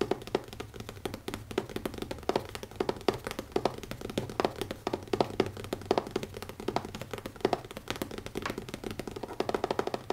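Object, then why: Leather notebook cover. Fingers tap quickly on the cover of a leather notebook, making a dense run of short, dry taps with a muted midrange tone. Each tap dies away almost instantly, with no voice present.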